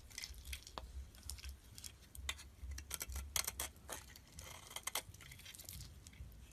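A metal utility blade scrapes and shaves thin curls off the surface of a solid cream-colored soap bar held in the fingers, with shavings piling up around it. It makes a quiet run of crisp, bright scraping and crackling strokes over a soft low rumble.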